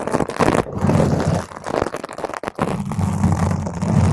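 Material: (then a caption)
Foam. Long stiletto nails from both hands scratch and grip the surface of a large round purple foam microphone cover. The result is a dense, muffled, rumbling scrape that stays heavy in the low end with almost no brightness. It runs nearly continuously, with one brief drop partway through before the scratching resumes.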